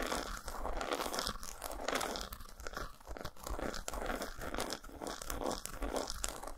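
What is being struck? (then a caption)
Dark chocolate bar. Long nails scratch and tap across the textured squares of an unwrapped solid dark chocolate bar resting on a towel. The result is a dense, continuous, crunchy scratching texture with quick, close-set taps and brief dips in level. The sound is mostly mid-range with some low thump and a little bright edge.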